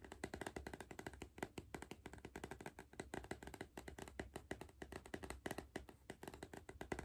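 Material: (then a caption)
Cardboard. Fingers tap rapidly and continuously on a cardboard crisp tube, making quick, dry, hollow-sounding taps with almost no ring. A steady low hum runs underneath throughout.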